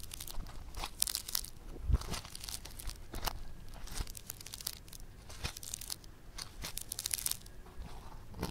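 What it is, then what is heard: Foam clay (floam). A soft, solid lump of yellow bead-textured foam clay (floam) is squeezed and kneaded with thumbs and fingers. It gives off a steady stream of dense, bright crunching and crackling pops with dull low squishes beneath. No single pops stand out clearly enough to count.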